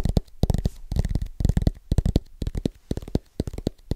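Fingertips of both hands tap fast and rhythmically on the metal back of a thin aluminum-backed iPad tablet held near the mic. The taps land as quick, soft, bass-heavy thuds with almost no ring, bunched in uneven flurries with brief gaps between.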